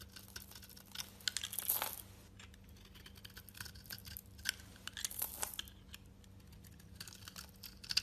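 A metal utility-knife blade scrapes and scores the surface of a solid, oval, tan-brown soap bar held in the hand, shaving off flakes. Soft, bright, crisp scratching and crunchy rasps come in quiet bursts, with louder scrapes near the start and middle, over a faint steady low hum.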